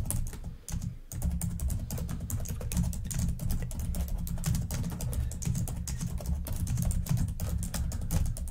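Long nails type quickly and steadily on the keys of a black plastic laptop keyboard, making a dense stream of sharp, bright clicks over a low, thumping undertone. The typing pauses briefly near the one-second mark, then carries on evenly to the end.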